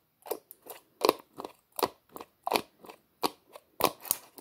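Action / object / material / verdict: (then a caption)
scrape / plastic screw lid on a small plastic tub / plastic / none. Fingertips twist the hollow white plastic screw lid of a small red plastic tub back and forth, making a quick series of short, dry clicking scrapes. Each scrape is a bright, crackly burst centered in the midrange, with almost no low end and no ring after it.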